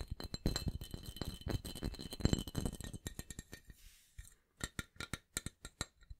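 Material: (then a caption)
Stainless steel. A medium, hollow, dark stainless steel cocktail shaker, apparently empty, is tapped and scratched with fingertips and nails while held and turned beside the microphone. The first half is a dense flurry of rapid taps and scratchy rustling, which thins into quieter, spaced-out taps with a bright, brief metallic ping.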